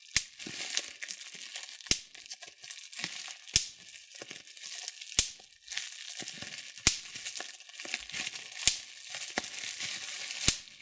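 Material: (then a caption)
Plastic. Thumbs and fingertips pinch and pop the air bubbles in a sheet of clear plastic bubble wrap. Seven sharp, bright pops ring out at fairly even intervals through the clip. Between them comes a steady, high crinkling and crackling of the plastic.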